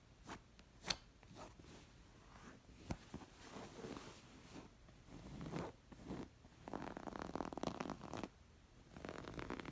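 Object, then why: Embroidered linen cushion. Long nails scratch a coral square stuffed embroidered linen pillow, first on the plain side and then across the embroidered stitches. Soft, dry fabric rasps are broken by a few sharp clicks early on. The scratching turns into denser, louder bursts of bright scraping toward the end.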